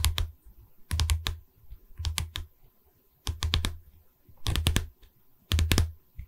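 Long red nails on one hand tap the top edge of a pine canvas stretcher frame in six short bursts of quick taps. Each tap pairs a dull, low wooden knock with a bright clicky tick and dies away almost at once, leaving brief quiet gaps between bursts.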